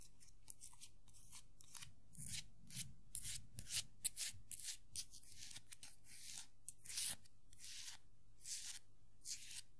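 A small hollow vinyl Funko Pop figure of Tuxedo Mask has its top hat scratched and rubbed with long nails. The result is a quiet, irregular run of short, bright scratching bursts over a low background hum.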